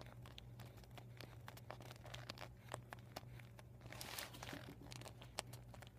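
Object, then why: Deflated vinyl beach ball. Fingertips with medium-length painted nails scratch, pinch and crinkle the thin plastic of a deflated, flattened vinyl beach ball with white, red, yellow and blue panels covered in marker writing, lying on a surface. A continuous run of soft crinkling and scratching is broken by many sharp, bright ticks and snaps, with a brief louder rustling swell near the middle. A steady low hum sits underneath throughout.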